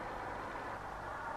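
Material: Nothing is struck.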